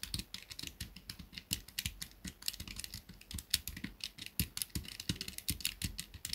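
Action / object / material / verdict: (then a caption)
tap / plastic pocket calculator keys / plastic / none. Fingers rapidly press and tap the keys of a small black plastic pocket calculator. The result is a quick, uneven stream of sharp, bright plastic clicks, each with a soft low thump underneath and almost no ring.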